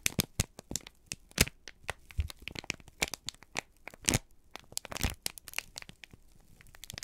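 A folded, crinkled sheet of brown kraft paper is held in both hands and squeezed and crumpled with the fingertips. It gives a rapid, irregular series of sharp, bright crackles and crinkles, with a few soft low thumps between them. Each crackle stops almost at once.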